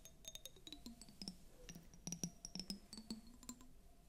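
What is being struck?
Glass tumbler with water.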